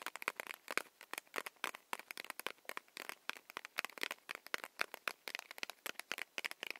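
Long nails tap rapidly on a small, solid, paper-wrapped Hi-Chew candy stick. The sound is a quiet, irregular run of sharp, dry clicks and crinkly ticks, bright with no low end, and each tap dies out almost instantly.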